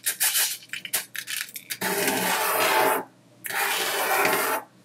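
A fingertip draws lines through a dry, loose layer of mixed colored sanding sugar crystals on a white tabletop, making a quick series of short, gritty scratches. A flat palm then presses and rubs over the granules in two long, bright, hissing sweeps separated by a brief pause.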